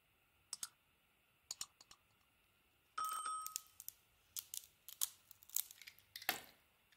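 A hand-held solid bar of white soap with a pink, gold and teal painted coating is scraped and shaved with a small metal blade, and the coating flakes off. Short, crisp, bright scraping clicks come in quiet bursts, with a longer scrape around the middle that carries a brief squeaky tone. The sound is dry and high with no low end, and each scrape dies away almost at once.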